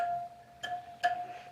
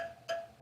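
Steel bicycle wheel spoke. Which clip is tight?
The first.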